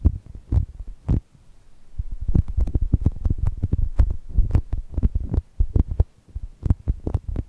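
Long nails tap and scratch across the surface of a soft, brown foam chocolate toast squishy. The result is a rapid, uneven run of muffled, deep thumps and soft scratches, with occasional faint bright ticks on the sharper taps. Each hit dies away almost instantly.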